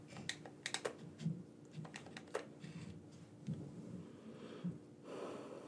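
Thumbs click the buttons of a black, wired, hand-sized, hollow plastic gamepad held in both hands. About eleven short, sharp clicks with bright tops and low, hollow thuds sound over a faint steady hum, unevenly spaced. A softer, longer rustle follows at the end.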